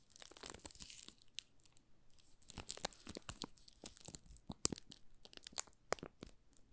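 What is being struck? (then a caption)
Soap bar wrapped in thin plastic film. A small solid yellow Marseille soap bar wrapped in thin clear plastic film is held in both hands while fingertips and nails rub and press the film. This makes quiet, bright crinkling and crackling with sharp snaps and short tearing-like bursts at an uneven pace.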